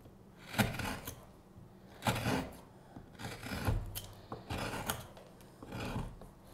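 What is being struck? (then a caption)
Wooden spoon blank, light wood. A steel hook knife scrapes the bowl of a solid light wood spoon blank with a curved handle in repeated cutting strokes. Each stroke is a short, dry rasp with a bright, hissy edge over a woody low thump, and it stops quickly with almost no ring. The strokes come at an uneven pace with quiet pauses between them.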